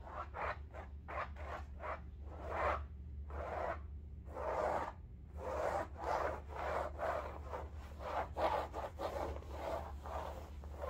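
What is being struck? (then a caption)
Fabric-covered bolster pillow. A large, soft-filled cylindrical upholstered bolster pillow covered in striped woven fabric is scratched with long nails. Quick rasping strokes come first, then longer rubbing scratches, all dry and midrange. A steady low hum runs underneath throughout.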